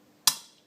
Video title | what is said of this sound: 'Sweating In' bearings into cases-the safe way to install b | you should hear it seat like that. If you hear this sound, then that's a good sound to have. And that just tells you that it's seated.